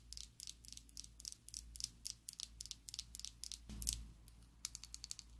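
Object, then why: Plastic liquid lipstick tube. Long acrylic nails tap a slim pink and black plastic Essence liquid lipstick tube, hollow and filled, held above a table. About twenty quick, bright, dry clicks with almost no ring come in an uneven run, with a louder scratchy burst near the middle. A faint low hum sits underneath throughout.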